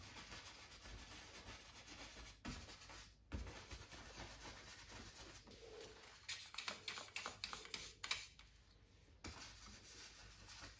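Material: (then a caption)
Cotton canvas. A small flat bristle brush, held in the fingertips, dabs and rubs across a stretched cotton canvas on a wooden frame resting on an easel. A soft, bright, steady scratchy rubbing runs throughout, broken in the middle by a cluster of quick, crisp dabbing taps before settling back into quiet brushing.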